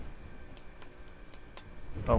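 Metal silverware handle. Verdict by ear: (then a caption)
Hollow. A hollow metal silverware handle is tapped in a series of light, short, high clicks that barely ring, ending with a louder knock with low thumping. The handle is hollow, and its cap would not come off with the flame.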